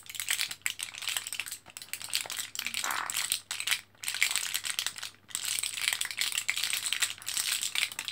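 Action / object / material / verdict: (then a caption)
shake / plastic and foil blister pack of capsules / plastic, foil / none. Fingertips press an orange plastic-and-foil blister card of capsules held in both hands, foil side up, and the capsules rattle inside. The result is a dense, bright crinkling and rattling with brief pauses near the middle, over a faint steady low hum.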